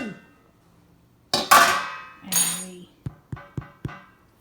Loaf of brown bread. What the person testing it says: we thump it to hear that nice thumpy cooked sound